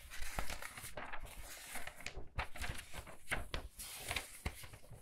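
Thin printed paper pages of a large, thick hardcover book lying open on a wooden table are quickly turned and flipped by both hands with long red-painted nails, then smoothed down with the fingertips. The result is a rapid run of crisp, crinkling page flips with brief bright swishes and soft low thumps as the pages settle.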